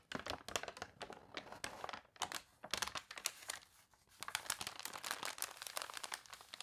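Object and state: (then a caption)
Newspaper pages being scratched and crinkled. An open newspaper lies flat while fingertips and long nails rub and scratch across its newsprint pages, and a page is turned with crinkling. The sound is a dense run of dry, bright scratches and crackles that stops briefly partway through and then resumes.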